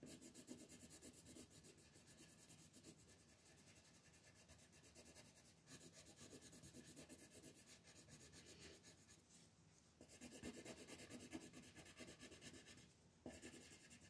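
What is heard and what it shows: A pink colored pencil is rubbed and scratched in short strokes across a flat paper coloring page with a mandala print, lying on a wooden table while the other hand holds the sheet. The result is a steady, dry, bright scratching and rubbing texture that continues throughout, with brief dips around nine and thirteen seconds.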